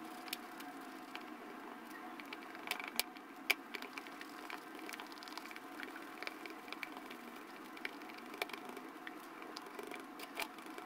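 A light-blue plastic spatula pokes, presses and stirs pink and yellow cloud foam slime in a small clear plastic jar held in the hand. A quiet, steady, bright crackle of tiny pops and squishes runs throughout, with a few sharper snaps standing out near the three-second mark.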